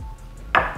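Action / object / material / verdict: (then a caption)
tap / plastic toy / plastic / none. A new toy made of pure plastic is tapped once, giving a short, bright knock centred around 1.2 kHz that fades within a fraction of a second. It is tapped to compare against an older toy, which sounds different.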